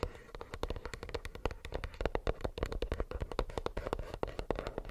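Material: Plastic.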